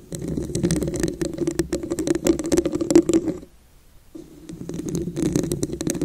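Long nails tap and scratch across the textured surface of a hollow, ridged red glass vase, making a dense run of quick clicks and rough scraping over a hollow resonance. The sound stops briefly for about half a second in the middle, then resumes.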